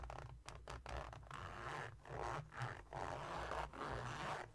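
A small silver glitter-coated cosmetic pouch with a red zipper is held against a table while its zipper is slid and scratched with fingertips and nails. Short rasping zipper strokes and dry scratching come in uneven bursts, mostly in the midrange around 1 kHz, over a soft low rumble.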